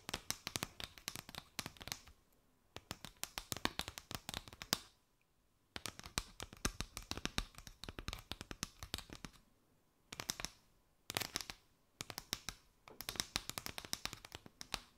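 Long white nails tap and scratch a mat of hollow gold-and-white chevron paper straws draped over the microphone. The result is rapid bursts of crisp, bright clicks and scratchy rustles, separated by short quiet pauses.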